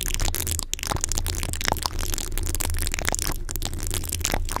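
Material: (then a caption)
Metal mesh. Long fingernails on both hands quickly scratch an uncovered, rounded, hollow metal mesh microphone grille. The result is a dense, continuous crackling rasp with sharp scratchy clicks over a steady low rumble.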